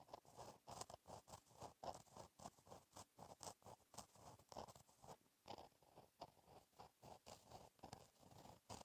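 A gel pen tip scratches across a flat, black, lined paper notebook page while writing cursive. Quick, dry scratching strokes come in rapid bursts, with a mid-range rasp and bright edges. Each stroke stops sharply with no ring.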